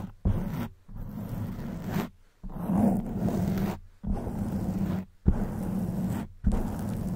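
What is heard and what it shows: Long white acrylic nails on both hands scratch and rub the sides of a black porous foam microphone windscreen. The result is a dense, low, rumbling scratch in repeated bursts separated by brief silent pauses.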